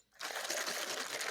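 A boba tea cup holding tea and ice is shaken, and the ice rattles against the cup. After a brief near-silence, a dense, continuous bright clatter starts and holds steady through the rest of the clip, with little low end.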